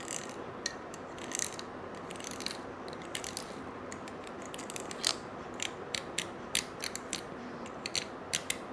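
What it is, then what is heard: Coiled metal bangle scrubbed with a brush. A stiff-bristled brush scrubs a small gold-colored coiled wire bangle held in one hand. It makes a steady, hissy scratching, broken by frequent sharp, bright metallic clicks and ticks as the bristles catch on the coils.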